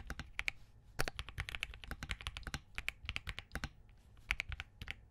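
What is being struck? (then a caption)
Mechanical keyboard, POM case with plastic keycaps. Both hands' fingertips type steadily on a compact Spark67 mechanical keyboard with Crane switches, a POM case and green gradient plastic keycaps. Rapid, crisp, short clacks carry a bright click near 2.3 kHz over a soft low thump, each dying away almost instantly.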